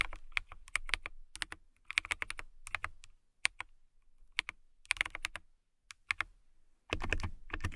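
Long nails tap and type on a transparent acrylic mechanical keyboard with clear keycaps. Quick bursts of sharp, bright clicks centered near 2 kHz, with a light low thump under each keystroke, are separated by brief pauses. The last second brings a denser, louder flurry of keystrokes.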